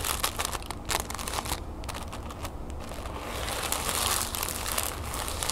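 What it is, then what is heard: Tissue paper being crinkled. Fingertips and nails scratch and crinkle folded orange tissue paper resting on a wooden table. Dense, bright crinkling and rustling comes in quick bursts over a steady low rumble, growing a little fuller and louder toward the end.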